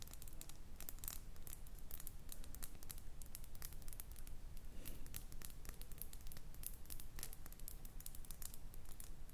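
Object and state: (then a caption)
Cut glass perfume bottle. A small round cut glass perfume bottle with a metal cap, filled with amber liquid and held in the hands, is tapped and scratched with long painted nails. Quick, irregular bright clicks and scratchy crackles run throughout over a steady low rumble, each tap dying away almost at once.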